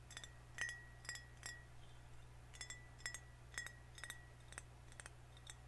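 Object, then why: Glass soda bottle. Fingernails tap lightly on a full green glass soda bottle held horizontally, giving quick, irregular clinks. Each tap leaves a short ring near 1.9 kHz with bright overtones. A steady low hum sits underneath.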